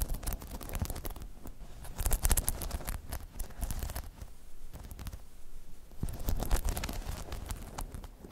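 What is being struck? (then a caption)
Hollow spiky rubber half-dome pod. Long chrome nails scratch and tap the spikes of a hollow, spiky rubber half-dome balance pod. A dense, irregular patter of soft taps and rustling scratches follows, with deep, muffled thumps and louder flurries near the two-second mark and again toward the end.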